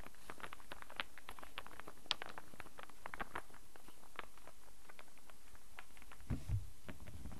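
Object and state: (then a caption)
Wooden star burr puzzle. A hand-sized solid wooden star burr puzzle, cupped in both hands, is tapped and manipulated with the fingertips, producing a steady stream of quiet, dry, bright clicks and light knocks. A low background rumble runs underneath, and a couple of duller thumps come near the end.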